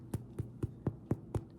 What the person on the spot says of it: tap on it sounds Hollow